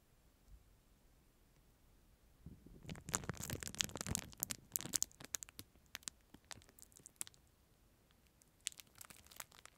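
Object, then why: Plastic film wrapper around a plastic spoon. Fingertips crinkle and rub the clear plastic film sleeve around a disposable plastic spoon, held in front of and beside the microphone. After about two seconds of near silence, a dense burst of bright, crackling rustles builds and fades into sparser sharp crinkles. A short lull follows, then a final flurry of crackles near the end.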